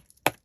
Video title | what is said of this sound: Embossed book page tags. Craft and Chat. | that sounds like cardboard that's just two book pages glued together and folded in thirds and then glued again